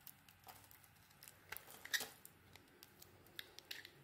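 A solid oval bar of dry soap, green inside with an orange coating, is held in one hand and shaved with a small metal blade, so curls peel off. About fifteen quiet, crisp scraping and cutting strokes come in an uneven series, each short, dry and bright with almost no low end. The loudest stroke falls near the middle.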